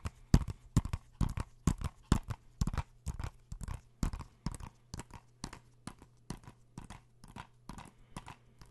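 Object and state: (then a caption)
Plastic game case tapped. A hollow plastic PS4 game case (Uncharted), held in the hands, is tapped with fingertips and nails in a quick, uneven rhythm. Each tap is a short, dry click with a dull hollow body and little ring, over a faint steady low hum.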